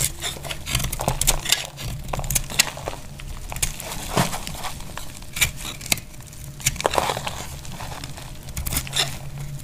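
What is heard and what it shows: A tan, dry brown laundry soap bar, now worn smaller, is held in the hand and scraped with a utility knife blade so that flakes fall away. The result is a steady run of crisp, bright scraping crackles and sharp ticks over a low background rumble.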